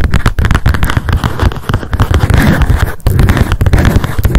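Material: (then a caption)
Paper. Long decorated acrylic nails tap fast on a small pink m.memo spiral-bound paper notebook with a card cover and a solid stack of pages, held in the hands. The rapid taps blur into a dense, continuous patter of dull, low thumps with a short, dry decay. A faint papery crackle sits above them, with only a brief dip near the three-second mark.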